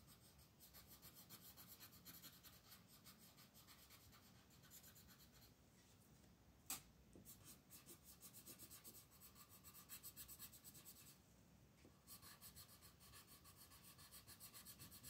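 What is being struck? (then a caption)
Colored pencil on a paper coloring page. A teal colored pencil is rubbed across a flat paper mandala coloring page on a table in shading strokes while the other hand holds the page. The result is a quiet, steady, bright scratchy rasp that eases briefly twice, with one sharp tick near the middle.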